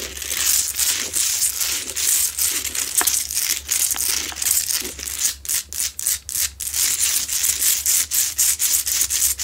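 Long nails scratch hard across a lit, medium, solid Himalayan salt rock lamp with a rough salt crystal surface. The sound is a bright, dense, gritty rasping, nearly all in the high range. It runs almost continuously at first, then breaks into quicker rhythmic strokes with short gaps in the second half.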